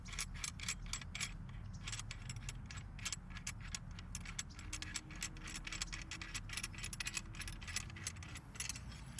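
A collapsed Oben ACM-2400L self-standing aluminum monopod with mini-legs, plastic section locks and a ball head is shaken to check whether it rattles while being carried. A dense run of light, bright jangling clicks is heard over a low rumble.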